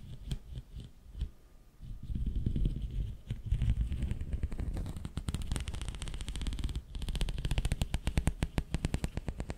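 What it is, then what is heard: Plastic pop tube. A long, hollow, ribbed pink corrugated plastic pop tube is held in both hands in front of the mic and stretched and bent with the fingers. It gives off soft, low rumbling thumps and dense runs of quick crackling pops. After a brief pause, these become a rapid, even series of sharp clicks.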